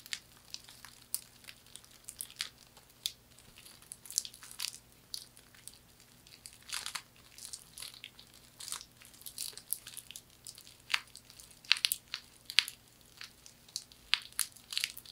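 A thin, flat hand fan of woven palm or straw with a knotted straw handle is scratched and rubbed with long nails near the handle and across the weave. Quiet, dry, bright crackling and crinkling scratches come in quick irregular bursts, with no lingering ring, over a faint steady low hum.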